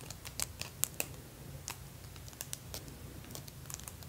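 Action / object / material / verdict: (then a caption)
tap / acrylic nails with plastic decorations / acrylic plastic / none. Extra-long pink acrylic press-on nails covered in plastic fake teeth are held up on both hands and tapped and clacked nail against nail. Rapid, sharp, bright clicks with almost no ring come in quick irregular bursts. A steady low hum sits underneath.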